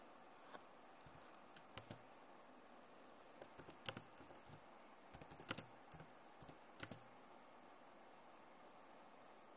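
Both hands type on a backlit plastic laptop keyboard with fingertips and nails, producing irregular, sharp, bright clicks and taps in loose clusters. The keystrokes are quiet and dry with almost no ring, set over a steady soft hiss.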